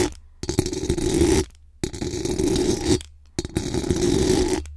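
Very long acrylic nails scratch fast across the hollow metal mesh dome grille of a large condenser microphone. The result is three dense bursts of raspy, crackling scraping, each about a second long and separated by short silences. The close, boomy scratching has a strong low-mid body with a fizzy high edge.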